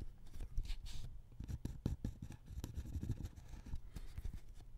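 A ballpoint pen held in the hand scratches small drawing strokes on a thin white paper sheet lying on a wooden table. The result is a quiet, steady run of short, dry scratches and soft taps with a dull low thump under each stroke and faint bright scraping edges on top.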